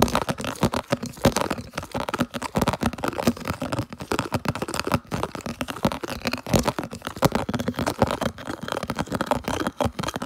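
Fingers rapidly scratch and tap a round, hollow, empty, translucent red plastic food container held close. The result is a fast, dense stream of dry, crinkly scratches and hollow taps that die away almost instantly. The sound sits mostly in the low and middle range, with a hollow tone around 234 Hz.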